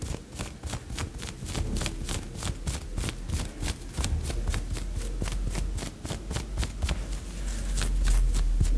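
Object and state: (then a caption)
Fingernails scratching a woven fabric blouse. Long yellow nails scratch the shoulder and sleeve of a worn white polka-dot blouse made of thin, soft woven fabric. Quick, fairly regular scratching strokes come at about three to four per second, each a bright, airy swish over a low rumble. The scratching grows louder toward the end.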